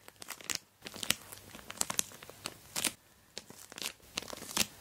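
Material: Plastic.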